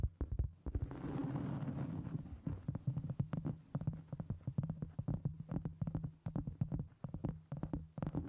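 Long acrylic nails scratch and tap a round, solid cork board held flat in front of a microphone, sometimes seen edge-on. A brief rustling scratch gives way to a rapid run of dull, muffled taps with a deep, thumpy low end and almost no high sparkle. Each tap dies away almost instantly.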